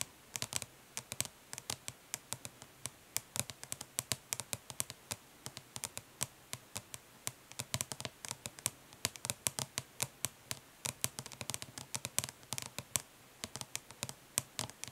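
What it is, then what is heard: Plastic eyeshadow palette. Long nails of both hands tap rapidly on the printed lid of a closed, flat, hollow plastic eyeshadow palette, with some light scratching. The result is a quiet stream of dense, sharp, bright clicks, each dying away almost instantly.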